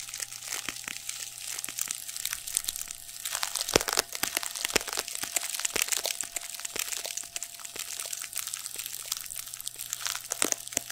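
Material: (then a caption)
Nylon fabric. Fingertips scratch and squeeze the surface of a soft, stuffed, black shiny padded nylon fabric pad held in both hands over the microphone. The result is a dense, bright, close-up crinkling and crackling full of quick sharp ticks over the whole clip, with a faint steady low hum underneath.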